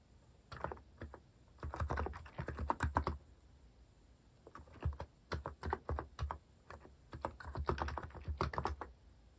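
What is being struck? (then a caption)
Plastic mechanical keyboard. Fingertips type fast and densely on a compact Hanmumu mechanical keyboard with a white plastic case and plastic cat keycaps. Quick bursts of crisp, dry clacks with a low thocky body come in flurries separated by short pauses, each keystroke dying away almost instantly.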